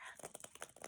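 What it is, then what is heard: Plastic egg holding a stick of gum. A stick of gum rattles inside a shaken plastic Easter egg, giving a quick run of soft, light clicks and patters. The taps are bright and dry with almost no low end. Each one dies away almost at once.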